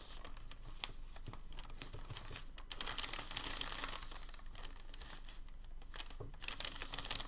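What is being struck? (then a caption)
Thin crinkled packing paper sheet. Hands fold a thin, crinkled sheet of packing paper and press it flat on a table. The result is a steady stream of bright, dry crinkling and crackling, with sharp little ticks scattered throughout and a soft low rustle underneath.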